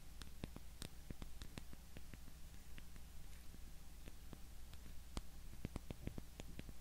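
Long nails tap the faces of a small, solid, light-wood cube held in both hands. The result is a quiet stream of quick, dry clicking taps with bright tips and almost no ring, over a steady low hum.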